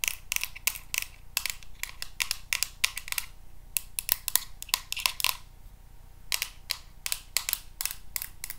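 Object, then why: Plastic paddle hairbrush. A teal plastic paddle hairbrush with a hollow-looking back, held in the hands, is tapped and scratched with paper clip nails. The result is a rapid, irregular series of sharp, bright plastic clicks, with brief scratchy passages in between.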